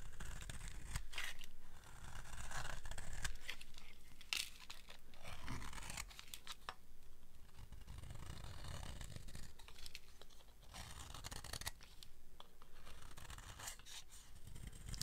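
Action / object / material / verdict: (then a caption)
scrape / soap bar scraped with a blade / soap / none. A blade scrapes across the face and edge of a solid, dry red soap bar, taking off fine shavings. Quick, uneven, crisp scratching and tearing strokes run continuously over a steady low rumble, with sharp bright rasps standing out now and then.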